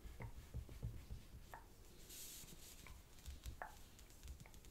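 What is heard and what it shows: Fingertips repeatedly tap and press along a single flat square sheet of green origami paper resting on a black cloth-covered table, creasing it. Soft, dull low thumps come in an irregular pattern, mixed with brief bright papery crinkles and a short hissy rustle. The sound stays quiet and close, with each tap dying away almost at once.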